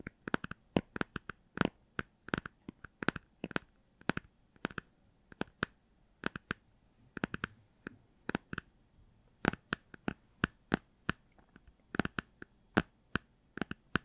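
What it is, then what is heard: Hardcover book tapped. A hardcover children's book with a cardboard cover, possibly a Star Wars book, is tapped with about 49 short, dry taps in an uneven rhythm, with perhaps some light scratching. Each tap is a crisp, broadband click that stops instantly with no ring, over a quiet background. The result is clean, pleasant tapping sounds.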